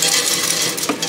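Potato pieces are tossed and shaken in an air fryer basket after 15 minutes of cooking, producing a bright, dry rattling and clattering with several sharp hits. The sound shows the potatoes are turning golden and crisp.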